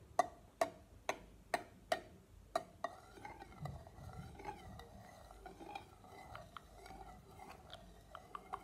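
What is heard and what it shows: A thin stick taps the edge of the metal lid on an empty glass jar while fingernails also touch the lid. Six sharp, ringing taps with a mid-pitched metallic tone come first, followed by softer, scattered scratches and light clicks.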